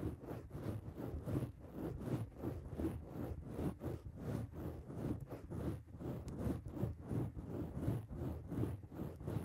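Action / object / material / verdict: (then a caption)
scrape / foam microphone windscreen / foam / none. Long acrylic nails on both hands scratch a black foam microphone windscreen. A steady stream of soft, muffled rasping strokes repeats at an uneven pace of roughly one to two per second. The sound is dominated by low, dull rustling with almost no bright edge.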